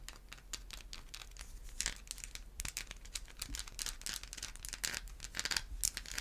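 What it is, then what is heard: Bar of soap. A solid white bar of soap is scratched and tapped with long white acrylic nails. The result is a steady run of quiet, dry, bright scratching and crinkly clicks, with sharper taps rising out of it now and then.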